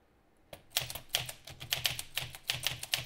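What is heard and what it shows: Fingertips type on a green metal Olivetti Lettera 32 portable manual typewriter with paper in the carriage. After a brief quiet start, a quick run of bright mechanical clacks is heard as the typebars strike the platen, over a faint fan hum.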